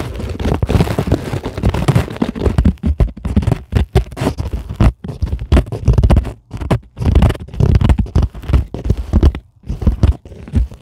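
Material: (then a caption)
Plastic foam. Long glittery acrylic nails scratch a flat, solid white closed-cell polyethylene foam sheet. The result is dense, low, rumbling scratches in quick bursts with brief pauses between them, mostly dull with little bright edge.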